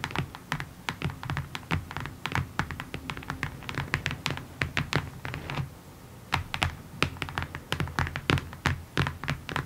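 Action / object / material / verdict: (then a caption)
tap / cardboard box / cardboard / none. Fingertips and long nails tap across the top face of a long, hollow, rectangular printed cardboard kit box resting on a table. The sharp, bright nail clicks sit over a hollow, low thump and die away almost instantly. The taps come in quick irregular runs, pausing briefly just before the six-second mark before picking up again.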